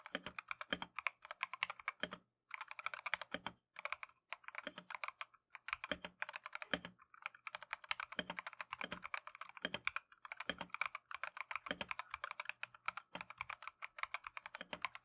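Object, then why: Plastic mechanical keyboard. Gloved fingertips type continuously on a Keychron V1 plastic mechanical keyboard with Tangerine switches and green and cream Matcha PBT keycaps. The result is a rapid, dense stream of short, bright, clacky keystrokes with a few brief pauses.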